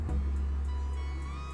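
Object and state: Nothing is struck.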